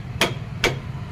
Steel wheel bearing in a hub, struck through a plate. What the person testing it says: आवाज से पता लग जाता है पूरा गया